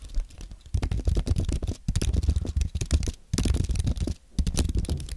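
Fingertips type on a compact white Apple keyboard made of aluminium and plastic. It gives bursts of quick, soft, low-pitched tapping clicks, with brief pauses between runs. Each keystroke has a muted thud that dies away almost at once.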